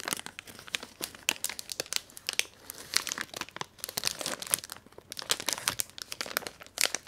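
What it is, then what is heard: Crinkly metallized plastic wrapper. A Magnum ice cream bar wrapper of thin, crinkly, metallized plastic film is held close and torn open and crumpled by hand with long manicured nails and fingertips. The result is a dense run of sharp, bright crinkles and crackles with short tearing rasps, almost no low end, and brief quieter gaps between bursts.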